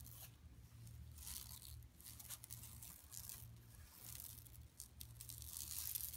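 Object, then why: Woven plastic mesh bag. Long nails scratch a large, flat, empty yellow woven plastic mesh tote lying on carpet, starting at the lower edge and then moving across the center. The result is a quiet, continuous bright rasping with crinkly, tearing-like bursts over a steady low hum.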